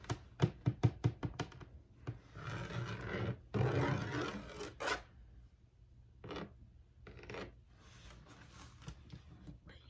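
A medium black hard-shell plastic carrying case with a textured surface and a red brand label, hollow and closed, is tapped and scratched with long acrylic nails. A quick run of short, sharp taps with a low hollow knock gives way to longer rasping scratches across the textured shell, followed by softer, intermittent scraping.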